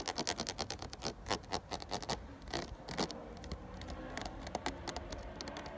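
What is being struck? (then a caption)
Ridged plastic water bottle. Fingernails scratch along the ridges of a ridged, clear plastic 500 ml water bottle full of water. The result is a fast, irregular run of short, dry, bright scratching bursts with little ring. The first half is louder and denser, and the scratching eases into softer, steadier rasping later on.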